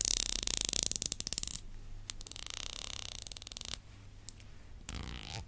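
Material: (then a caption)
Plastic. Long black acrylic nails scratch and strum the fine teeth of a lavender plastic tail comb, making rapid, bright, crackling ticks in quick bursts. A dense run of strumming gives way to a pause, then a second steady run, then a softer scratchy stretch at the end, all over a faint low hum.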